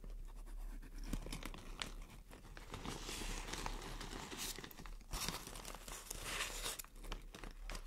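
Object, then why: Thin plastic shower cap. Long nails scrunch, scratch and crinkle a thin white plastic shower cap with a green print. A steady, dense stream of crackling and scratchy rustling rises into brighter crinkly bursts over a low background rumble.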